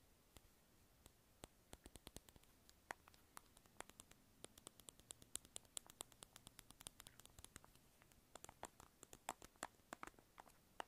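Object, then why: Small round plastic lip balm container. A small, hollow, light-blue round plastic lip balm egg, held in the hand near the microphone, is tapped and scratched with long acrylic nails. The result is a quiet, steady run of sharp, dry clicks with a bright top and faint scratching between them, each tap dying away almost instantly.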